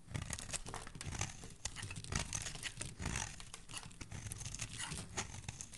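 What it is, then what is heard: Bar soap being shaved with a blade. A solid green oval bar of soap, held in a hand with dark nails, is scraped and shaved with a utility blade, curling off green shavings. Dense, crackly scraping and crinkling sounds come in quick, uneven bursts, with a bright hiss over a low rumble. Each stroke is short and dry with almost no ring.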